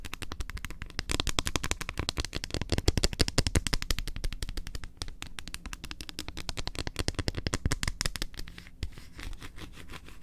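Long acrylic nails rapidly tap and scratch the surface of a large, flat, solid milk chocolate bar with almond bits, held on the edge of a table. The result is a fast, irregular run of short, dry clicks with a low thump beneath them, overlaid with bright scratchy hiss.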